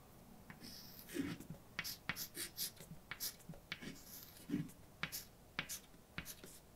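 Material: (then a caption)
Chalk. A hand writes a line of text in white chalk on a large dark blackboard, scratching the chalk across the board. Quiet, dry, scratchy strokes and short taps follow one another in an uneven rhythm, each with a bright, hissy edge and a soft low thud as the chalk meets the board.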